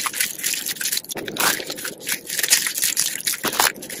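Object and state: Dry soap curls, crunchy.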